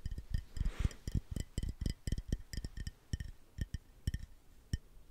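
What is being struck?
Small glass bottle of drink.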